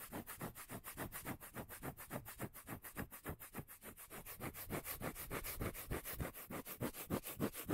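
Fingertips and nails rub and scratch the face of a solid, palm-sized round cork lid held in one hand. The result is a quick, steady run of soft, dry scraping strokes, about three to four per second, with a deep, bassy low end under a bright hiss.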